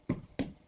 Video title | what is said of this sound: CASA ROSA EN TULUM - Obras Ajenas - Tulum | si se siente o si escuchan está hueco sea está levantado no sobre un bastidor del suelo